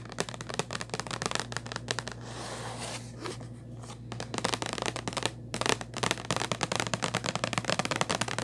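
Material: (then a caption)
Cardboard. Long nails tap and scratch a hollow purple Kleenex cardboard tissue box, making a rapid stream of dry, crisp clicks over a steady low hum. Midway the tapping gives way to a softer, hissy scratching, then quick bright taps resume.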